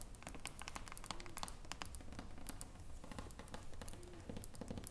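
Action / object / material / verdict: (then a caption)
tap / glass jar with metal screw lid / glass, metal / none. Long nails tap the silver metal screw lid and the glass sides of a small glass jar with a pale green label, which stands on a table. Quick, quiet, crisp clicks follow one another in a steady patter over a low background rumble, each tap dying away almost instantly.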